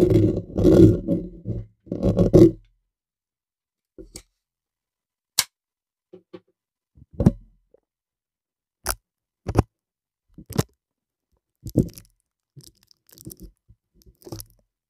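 Fingernails slowly scratch and tap on a bare, hollow black metal mesh microphone grille. Two longer low, rustling scratches come first, followed by a series of short, irregular dry taps and scrapes with brief bright edges and almost no ring.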